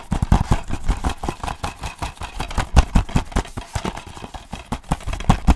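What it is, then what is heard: Plastic DVD case tapped with fingertips and nails. Fingertips and nails tap a closed, hollow plastic DVD case held upright in one hand. The taps come in a quick, irregular flurry, each one a short, dry, low thump with a faint click on top and almost no ring.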